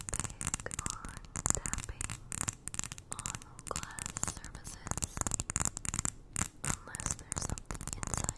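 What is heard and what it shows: Long nails tap rapidly on the sides of a small glass jar full of white granules, held in both hands close up. Many quick, dry clicks with almost no ring come in dense bursts, bright and high with some low thump underneath.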